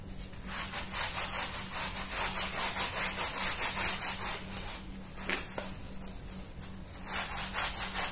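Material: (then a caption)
Wool. A hand scrub brush scrubs the pile of a small, dirty, patterned woven wool rug, wet with soapy foam, lying on a stone tile floor while the other hand steadies it. Quick, regular strokes make a bright, rasping, wet hiss, easing off briefly near the middle before the strokes pick up again. A faint steady low hum runs underneath.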